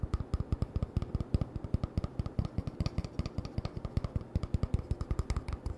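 An empty, hollow brown cardboard toilet paper roll tube is held in the hands and tapped and scratched with short fingertips and nails. Dozens of quick, dry, hollow thumps with a low tone follow one another rapidly, each dying away at once. A soft scratchy rustle fills the gaps between them.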